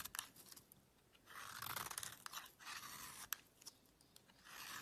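A solid beige soap bar, carved to a wedge shape and held in the fingers, is shaved with a small metal knife, and the curls fall onto a black surface. Quiet, bright scraping strokes swell and fade with a few sharp crisp clicks between them, mostly high hiss with almost no low end.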